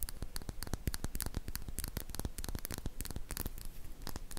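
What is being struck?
Small glass dropper bottle.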